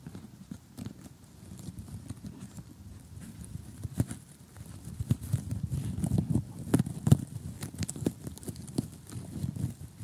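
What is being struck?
Assembled cardboard jigsaw puzzle.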